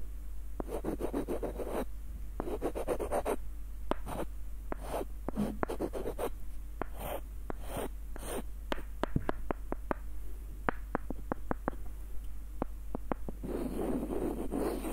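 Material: Wood.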